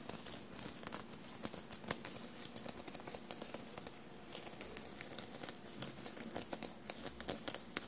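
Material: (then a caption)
Metal, fabric. Long blue-painted nails tap and scratch across the small silver metallic paillettes and studs on a dark navy knit fabric shirt lying soft and bunched on a table. Quiet, rapid, bright clicks and scratchy ticks come over a faint fabric rustle, and each one stops almost instantly with no ring.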